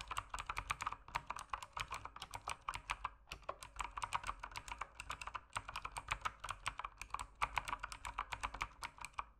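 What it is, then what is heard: Plastic mechanical keyboard. Fast fingertip typing on an RGB-lit mechanical keyboard with plastic keycaps gives a dense run of sharp, short clicks. Their energy centres around 1 kHz with bright top edges, and they come in bursts separated by brief pauses.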